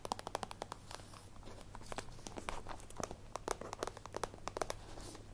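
Long nails tap quickly on the sides of a holographic plastic zippered pencil case held in the hands. The result is a rapid, uneven run of short, dry, clicky plastic taps with a slight crinkle, each stopping almost instantly, over a steady low hum.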